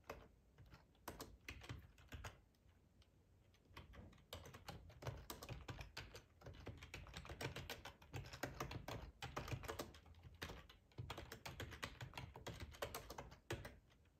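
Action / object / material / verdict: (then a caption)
tap / plastic computer keyboard / plastic / none. Fingertips of both hands type on the keys of a full-size black plastic ergonomic split keyboard resting on a cloth tablecloth. Quiet, steady runs of soft key clicks with low, muffled thuds fill the clip, broken by brief pauses near 3 and 11 seconds.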